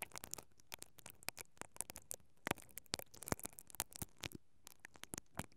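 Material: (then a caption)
Metal mesh. A pink-handled mascara brush with black plastic bristles, held by fingers with long painted nails, is brushed and scratched across the hollow perforated metal capsule grille of a silver stereo microphone on a mount. A quick, irregular run of short, dry, crackly scratches is heard, bright and broadband, with no ring after each stroke.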